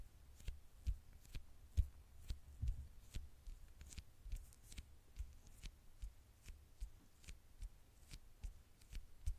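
Long nails tap and scratch the dark glass screen and gold edge of a small, flat smartphone held in the hand. Quiet, irregular taps land as soft low thumps with short, bright clicks, with faint scratching between them.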